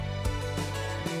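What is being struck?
Nothing is struck.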